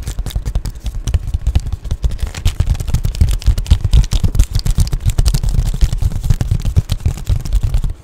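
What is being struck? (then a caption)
Padded plastic bubble mailer. Long painted nails scratch and tap across the bubbly plastic surface of an Amazon Prime padded poly bubble mailer, close up. The result is a rapid, continuous run of short crinkly taps and scratchy crackles, heavy in low thumping tone, with faint bright rustle on top.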